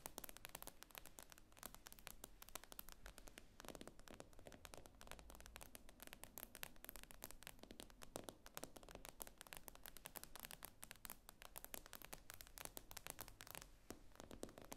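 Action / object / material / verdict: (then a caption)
tap / tablet glass screen / glass / none. Long nails tap and scratch across the glass screen of an iPad lying flat. It makes a quiet, steady stream of quick, dry clicks mixed with bright, scratchy scraping, each tick stopping almost instantly. The sound stays close and crackly throughout, with a faint low rumble beneath it.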